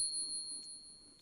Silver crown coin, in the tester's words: sterling silver has a really nice long high-pitched ding to it